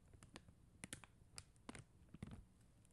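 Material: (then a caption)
Plastic. Long acrylic nail tips tap quickly on a flat sheet of faceted clear and blue plastic rhinestone stickers on white backing. The result is a series of sharp, bright plastic clicks with short dull low thuds underneath. Each click dies away almost instantly, leaving a quiet, close, dry sound.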